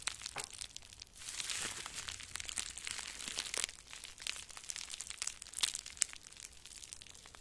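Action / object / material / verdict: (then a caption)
scrape / crumpled plastic bubble wrap / plastic / none. Small crumpled pieces of clear plastic bubble wrap, one in each hand, are squeezed and crinkled with the fingers close to the microphone. The result is a steady, bright crinkling with many sharp, quick crackles and pops, and almost no low end. The texture swells in denser bursts and then thins out again.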